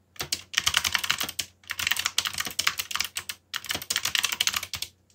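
Fingertips type rapidly on a backlit mechanical keyboard with black plastic keycaps. Three bursts of quick, bright, clicky keystrokes are separated by brief pauses, each click short and dry with almost no low end.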